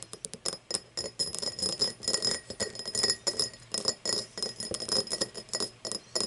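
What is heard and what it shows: Long nails tap and scratch the side and star-cut base of an empty, hollow cut-crystal tumbler lying on its side. A rapid, uneven series of bright glassy clicks and scrapes rings with a steady high tone, and each tap dies away almost at once.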